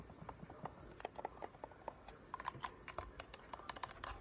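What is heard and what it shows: A hollow black plastic game controller has its buttons clicked with the thumbs, then is turned while fingertips and nails tap the shell. About nineteen short, dry clicks and taps are heard, each dying out almost at once, with a knocking tone around 1 kHz and faint bright edges over a quiet background.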